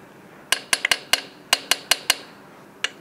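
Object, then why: Steel wheel nut on a truck wheel. A small inspection hammer with a steel head and wooden handle taps ten times on small, solid steel wheel nuts on a truck's aluminum wheel. Each strike gives a short, bright metallic tick with a high ring that dies away almost at once, in an uneven rhythm with a brief pause before the final tap.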